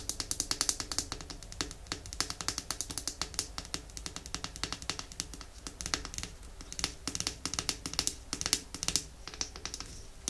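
Long nails tap rapidly on the glass body of a small, full, red glass nail polish bottle. The result is a dense stream of crisp, bright clicks with almost no ring, sitting over a faint low hum.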